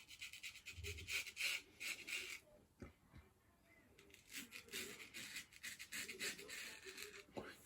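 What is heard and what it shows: A 5/8 hollow ground steel straight razor scrapes through beard stubble in a run of quick, raspy strokes, with a brief quieter pause in the middle. The scraping is crisp and bright, mostly high-pitched with little low end. The loud, clear sound is typical of a hollow ground blade.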